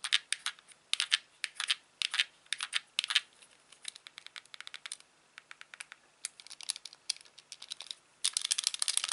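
Fingertips press and click the buttons and thumbsticks of a hand-sized, white, hollow plastic Wii Classic controller. Short, bright, dry clicks come in quick irregular clusters, with almost no low end and energy centered around 3 kHz. They end in a dense, rapid flurry of clicking.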